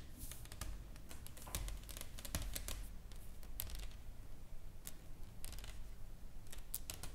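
Long nails tap and scratch across a solid, flat wooden sign board with carved writing and painted flowers, resting on a table. Quick, bright, dry clicks come in irregular bursts with short scraping strokes between them, over a steady low rumble.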